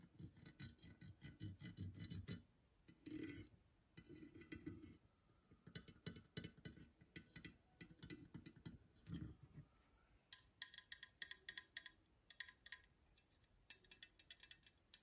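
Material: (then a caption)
Plated metal. Long green nails tap rapidly on the top of a small, old, chrome-plated metal hole punch with a black base, making soft, dull, low clicking taps in bursts. The punch is then picked up and held in the hand, and the sound turns into sharper, brighter metallic ticks and clicks with almost no ring.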